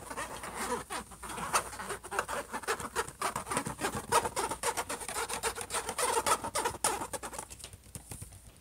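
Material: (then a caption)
Metal. Both hands tap quickly with their fingertips and scratch with their nails on the closed lid of a silver HP laptop, a flat hollow shell. Rapid, irregular taps land over a dry, bright scratching rasp, with each tap giving a short, hollow knock centered around 900 Hz. The activity stays dense and fairly steady, then thins out and quiets in the last second.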